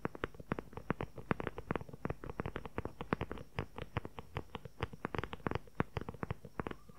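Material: Leather.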